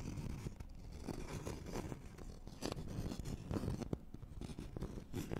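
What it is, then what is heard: Thin wooden board scratched with fingernails. Fingernails scratch across the face and edge of a thin, flat, solid wooden notched trowel board. The result is a quiet, dry, papery scratching in quick, uneven strokes, with a soft low rumble underneath and some brighter rasping bursts.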